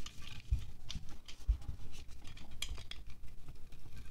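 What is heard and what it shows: A small red-handled knife scrapes and shaves wax off the white top of a solid green pillar candle held in one hand above a glass plate. The result is a series of short, dry scraping strokes with soft low thuds and brief bright scratchy edges. The shavings fall softly onto the plate with no ringing.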